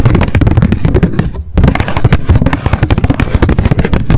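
Long decorated acrylic nails tap fast on a small pink m.memo spiral-bound paper notebook with a card cover, held in the hands. The taps come in a dense, rapid stream of short, dry, low thumps with very little brightness, pausing briefly around the middle before resuming at the same pace.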